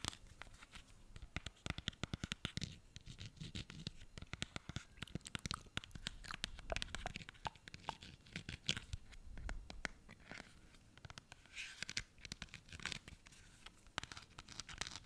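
A pink plastic hand cream tube with a barcode label, held in both hands, is scratched with fingernails along its surface. The sound is a quiet, dense run of rapid, crisp scratches and clicks with a bright, papery edge over a faint low rumble, continuing steadily throughout.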